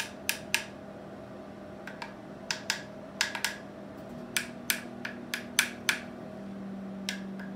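A Polk SDA SRS 15-inch loudspeaker passive radiator treated with Dynamat Extreme damping material is tapped 16 times in a ring test. Each tap is a sharp, bright click that dies away almost instantly over a faint steady hum.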